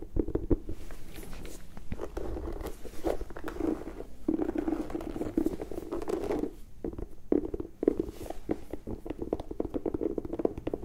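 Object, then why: Leather and rubber high-top sneaker. An empty, single turquoise and white high-top sneaker with a leather upper and rubber sole is held in both hands while long nails scratch and tap along the upper and the sole edge. The result is a dense run of quick, dry clicks and taps mixed with soft scratching passages, centered in a warm low-mid tone with little bright content. Each tap dies away instantly.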